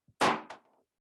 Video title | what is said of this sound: SciFest 2022: Breaking Point | tap it against the glass it's gone oh rock hard